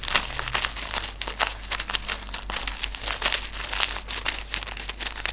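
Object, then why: Silica gel desiccant sachet. Fingertips crinkle and rub a small white silica gel desiccant sachet filled with silica beads, then hold it up. Dense, bright crinkling and crackling ticks come in rapid bursts throughout, with a faint steady low hum underneath.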